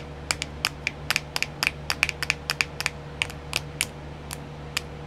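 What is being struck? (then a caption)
Small clear plastic compartment wheel tapped with long nails. Long nails tap and scratch on a small, round, clear plastic nail art wheel with filled compartments. About twenty sharp, bright clicks come in quick, irregular bursts, each dying away almost instantly. A faint steady low hum runs underneath.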